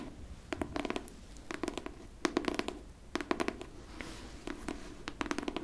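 Clusters of fast, light clicks come in short runs with pauses between, each tick dying away at once. A faint low knock sits under the clicks, the dull thump of a stiff board cover. Nails tapping and scraping a hardcover book in a small, quiet room.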